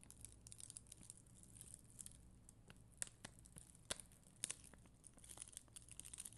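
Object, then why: Plastic rhinestone sticker sheet scratched with a bristle brush. A flat, solid sheet of red and clear acrylic rhinestone gem stickers is scratched with a black mascara spoolie by long green nails. The result is a quiet, bright, crackly scratching made of many dry, short clicks and crinkles over a low steady hum, with a few sharper ticks standing out.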